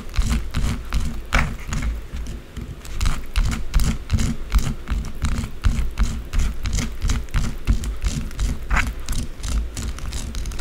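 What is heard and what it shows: Long blue acrylic nails scratch fast across a small solid white bar of soap on a dark table, leaving shavings around it. The sound is a rapid, uneven run of scratchy strokes, with dull low thumps underneath and brief bright crackling scrapes on top.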